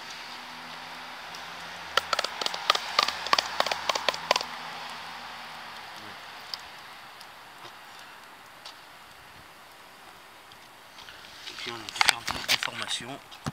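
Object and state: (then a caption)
Hollow-sounding loose surface covering. A deformed wall or floor covering, damaged by recurring winter water infiltration through capillarity, is knocked in two bursts of rapid, dry, bright taps, around 2–4 seconds and again near the end, over a steady low hum. The knocks sound hollow, showing the covering has come loose from the surface beneath.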